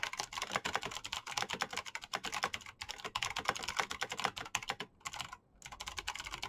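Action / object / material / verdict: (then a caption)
tap / plastic mechanical keyboard / plastic / none. Fingertips type fast and densely on a black plastic mechanical keyboard with backlit keycaps and clicky switches. The result is a steady stream of sharp, bright clicks with almost no low end. The flow breaks twice in brief pauses near the five-second mark before resuming.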